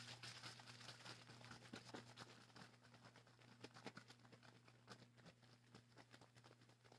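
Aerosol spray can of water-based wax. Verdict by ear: Unmixed.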